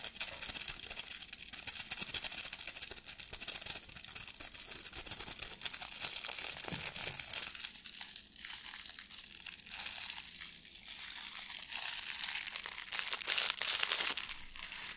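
A blue metallic plastic ribbon gift bow, held close to the camera, is crinkled with the fingertips. It makes a steady stream of bright, crisp crinkling and rustling with almost no low end, growing louder and denser toward the end.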